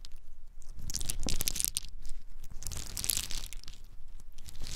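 Small, hard-shelled whole pine nuts cupped in both bare hands are shaken and poured between the palms, with some dropping onto a dark surface. The clip is a dense, continuous crackling rattle of shells clicking and grinding together, carried by a low rumble and bright, sharp ticks.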